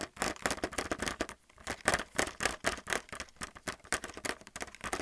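A fingernail taps quickly on a handheld plastic paint palette in its blister packaging, striking the clear, hollow plastic blister over the white palettes. About 25 short, dry, clicky taps come in an uneven, rapid patter, with a bright plastic ring around 1.8 kHz that dies almost instantly. There is a brief pause just before the two-second mark.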